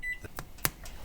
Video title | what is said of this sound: Ep. 10 A Soup for the Spirits | we have a nice Hollow tap